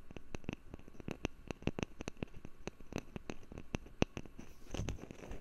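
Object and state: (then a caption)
Wooden lid. A wooden lid is tapped in a quick, uneven series of short, dry taps, each a soft low thud with a light bright click on top. Near the end the taps blur into a brief softer, scratchy patch before the tapping resumes.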